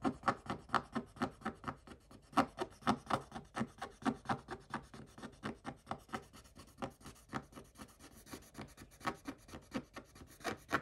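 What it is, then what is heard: Scratch-off coated paper page being scraped. A fast, irregular series of brief raspy strokes, about two a second, each a broad dry smear with no ring. A wooden stick is scraping the waxy black coating from a scratch-off paper page, a papery scratch close to the microphone.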